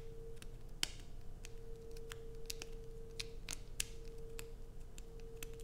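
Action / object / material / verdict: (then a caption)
scrape / bar of soap / soap / none. Long acrylic nails scratch and scrape the surface of a solid light-blue bar of soap with carved grooves. The result is a quick run of sharp, bright, dry clicks and scrapes that die away almost instantly, heard over a steady low hum.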